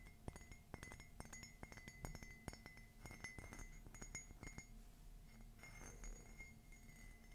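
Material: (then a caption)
Ceramic. Long fingernails tap a rapid series of sharp clicks on a hollow, empty cream matte ceramic coffee mug with a black rim and an engraved "Love is Magical" design. Each tap brings out a short, bright ring near 2 kHz over a low body. The taps are dense for the first four and a half seconds, then thin out into softer, quieter touches.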